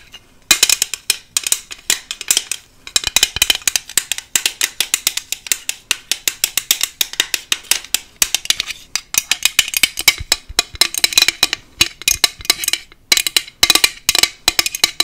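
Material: Plastic.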